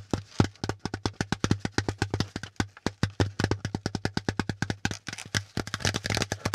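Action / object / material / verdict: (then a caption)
tap / corrugated cardboard packaging insert / cardboard / none. Fingertips and nails tap along the folded ridges of a hollow, empty brown corrugated cardboard packaging insert with pleated folds. It makes a fast, steady stream of short, dry, papery taps with a low hollow thump, each dying away almost at once. A faint low hum runs underneath.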